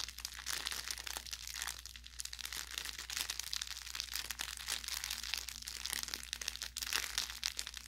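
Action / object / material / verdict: scrape / plush fabric carrot toy with crinkle-film filling / crinkle film / none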